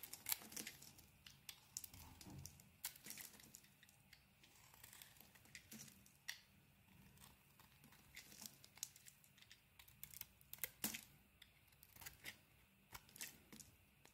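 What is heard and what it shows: A utility blade scrapes thin curls along the face of a solid pink and white soap bar held in the hand. The quiet, bright, crisp scrapes and crackles come in irregular short strokes with faint low hum beneath.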